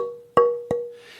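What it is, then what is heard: Resonant tonewood board, sounds very good. A tonewood board for a violin, held close to the ear, is tapped twice, each tap ringing with a clear, sustained tone around 480 Hz and bright overtones that linger after the impact. Faint rubbing noise follows near the end. The board is judged to sound very good.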